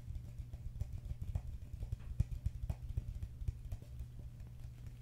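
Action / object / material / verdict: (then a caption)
tap / plastic cup / plastic / none. A medium, hollow, apparently empty green plastic cup is held in the hands and tapped and scratched with fingertips and nails. Quick, irregular taps make soft, dull, low thuds with very short decay over a faint scratchy rustle.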